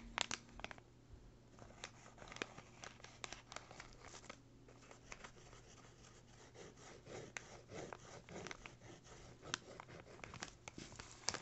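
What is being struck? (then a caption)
Kraft paper bag. The tip of a yellow pencil traces and scratches across a small, flat, empty brown kraft paper bag while the other hand's fingertips hold it down. Dry, bright scratching and rustling runs throughout, broken by many short, sharp ticks and crinkles, over a faint, steady low hum.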